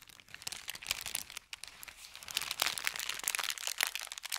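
Hands bend and crinkle an empty, folded thin kraft paper bakery bag, then press it flat with their fingertips. A dense run of bright, crisp crackles and sharp snaps, with almost no low end, rises and falls in bursts throughout.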